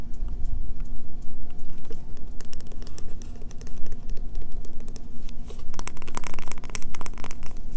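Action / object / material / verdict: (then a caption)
scrape / bar of soap / soap / none. Fingernails scratch, tap and dig into a solid, pale green bar of Castile soap held in the hand, piling shavings onto the table. Rapid, crisp, dry clicks and scrapes come in dense bursts over a steady low hum. The scratching grows busier and brighter toward the end.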